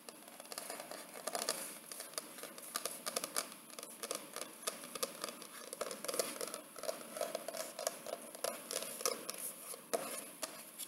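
Fingertips and long nails tap quickly across the rigid, paper-finished cardboard cover of a large wedding photo album, near its photo window. The result is a steady stream of many light, dry, crisp clicks with a papery mid tone, no low end, and very short decay.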